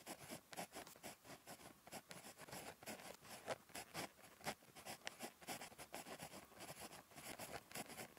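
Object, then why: Ballpoint pen on paper notebook page. A ballpoint pen tip scratches across a thin, flat lined paper notebook page while writing by hand. Quiet, bright, scratchy strokes come in quick, irregular bursts with short dry pauses between them, and there is almost no low end or ring.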